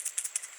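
A 12-gauge "Piranha" shotgun shell packed with loose steel nails, which feels lightweight, is shaken. A few quick, bright, dry rattles of the nails clicking inside the shell are heard, with no low end and almost no ring.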